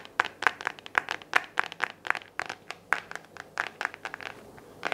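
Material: Plastic.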